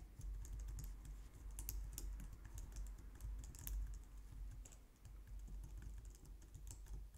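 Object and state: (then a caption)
Plastic computer keyboard being typed on. Long painted nails and fingertips type steadily on a low-profile white/light-grey plastic wireless keyboard resting on a glitter mat on a wooden desk. The result is a continuous stream of quick, soft plastic taps with bright little clicks over a low, dull thud.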